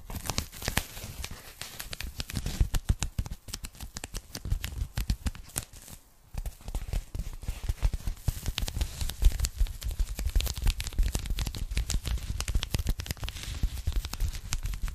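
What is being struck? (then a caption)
Polyethylene foam packing bag. A pink polyethylene foam packing bag is rolled and folded while long nails tap and scratch it quickly. Dense, rapid crinkling taps and scratches blend soft low thumps with bright crackle, easing briefly around six seconds before continuing steadily.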